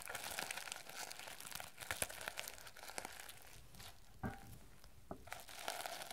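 Fingernails scratch and brush quickly across the plastic sequins of a teal sequin-covered notebook. The result is a dense, crinkly rustle with bright, high clicks and a few sharper ticks throughout.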